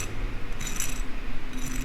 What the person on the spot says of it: I'm gonna do a fork test really quickly to see how crispy it sounds